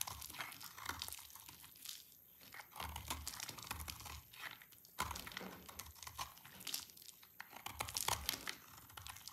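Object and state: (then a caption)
Dry soap bar shaved with a blade. A solid, pale yellow, oval bar of dry soap is held in the hand and shaved into curls with a utility knife blade. Repeated dry, crunchy scraping strokes are heard, bright and crackling with short brittle snaps, and they fade between passes.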